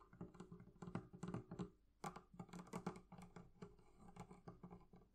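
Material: Leather.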